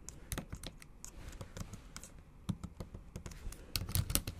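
Long acrylic nail tips and fingertips tap the backlit black plastic keys of a MacBook Pro with a silver aluminium body in a typing motion. A quick, uneven run of short, dry clicks follows, each a soft low thud with a bright tick on top. The taps grow a little louder and denser toward the end.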